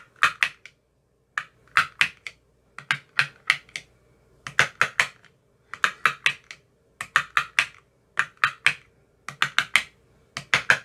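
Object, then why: Plastic ice cube tray with silicone cups. An empty clear plastic ice cube tray with 15 cube cells and green silicone bottoms lies flat and is tapped inside the cells with a thin metal rod with a white tip. The result is bursts of quick, dry, bright clicks with almost no ring, coming in rapid clusters separated by short pauses.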